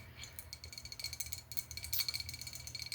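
A ginger ale bottle is tapped about fourteen times in quick succession. Each tap makes a light, bright click with a faint high tone that dies away almost at once, over a low background hum.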